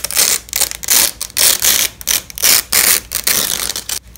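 Gloved hands press long yellow and black nylon hook-and-loop (Velcro) strips of flat fabric tape together and rip them apart repeatedly. Each pull makes a crunchy, bright, rasping tear, separated by short quiet gaps, with almost no low end.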